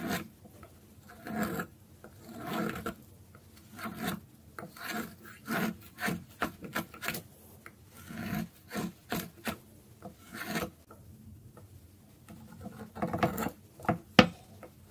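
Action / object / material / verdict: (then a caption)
scrape / bar of soap scraped by a metal blade / soap / none. A metal blade scrapes shavings off the surface of a solid, dry orange soap bar, now thinner, held on a wooden board. A series of short, dry, raspy scraping strokes comes in separate bursts with quiet gaps between them, with a low body and some brighter scratchy edges, and a few louder strokes near the end.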